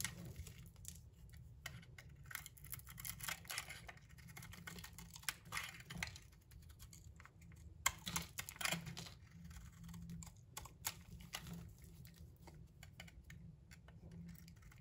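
A utility knife blade scrapes and shaves pieces off a solid pink bar of soap with a bronze coating, held in the hand. Dense, crisp scratching and crackling cuts come in quick irregular bursts, bright and papery around 2 kHz, with a few sharper louder scrapes. A steady low hum runs underneath.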